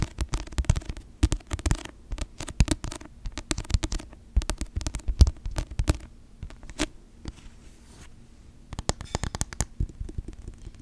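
Long nails tap and scratch the glossy cover of a paperback novel held upright close to the microphone. Bursts of quick, dry, low-heavy taps mix with soft scratchy strokes, separated by short quieter pauses. Each tap dies away almost at once.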